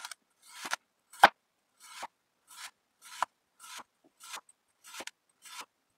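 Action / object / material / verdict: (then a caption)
scrape / kinetic sand block cut by a metal knife / kinetic sand / none. A metal serrated knife slices a solid, hand-length molded block of red kinetic sand on a white board into thin slices. Ten short, dry, gritty scraping strokes follow one another as the blade rasps through the sand, each ending in a slightly sharper scrape. The sound is mostly midrange with a grainy hiss and no low rumble.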